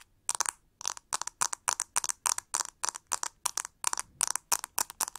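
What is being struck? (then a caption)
Plastic hair brush with ribbed handle. Long nails scratch and tap the hollow, textured plastic back of a pink plastic hair brush with a ribbed handle while it is held up. The result is a quick, irregular run of short, crackly bursts, each with several rapid ticks. The sound is dry and bright, with almost no low end and no ringing after each burst.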